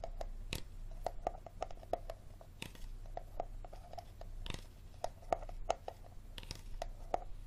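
Fingertips and nails tap and scratch the bottom and labeled sides of an empty, hollow clear plastic water bottle. Quick, dry taps each carry a short hollow ping around 700 Hz, mixed with softer scratchy rubs over a low background hum.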